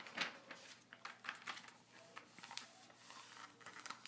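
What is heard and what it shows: A flat hand and fingertips rub and scratch across the glossy paper pages of an open magazine lying on a table. Quiet, bright, papery scratching and swishing comes in short, irregular strokes with almost no low end, each stroke fading quickly.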